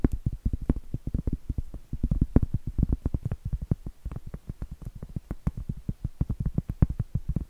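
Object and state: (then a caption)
Cork trivet. Medium acrylic nails rapidly tap and scratch the face of a round, flat, solid cork trivet board held upright. The result is a dense, uneven run of dull, low, muffled thuds with almost no ring, broken by occasional brighter clicks.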